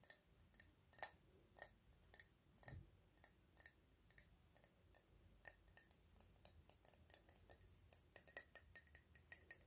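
Fingernails slowly tap a small, hollow, cylindrical silver metal spray bottle with a ridged cap. The taps make a quiet, uneven series of sharp, bright metallic clicks with a high ring that dies away almost instantly.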